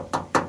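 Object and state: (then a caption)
Car body panel with thin filler, still sounds like sheet metal. Two knocks on a restored steel body panel of an Isuzu Crosswind, where the dent was pulled out first and only a very thin layer of body filler was applied. Each knock is a short, hollow tap that rings briefly around the midrange, and the panel still sounds like sheet metal.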